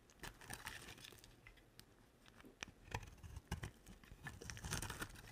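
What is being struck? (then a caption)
Bar of soap. A box-cutter blade shaves and carves a solid, rectangular bar of dry olive green soap. The result is quiet, crinkly scraping with crisp, bright snaps and clicks over a low background rumble, coming in uneven bursts that swell louder toward the end.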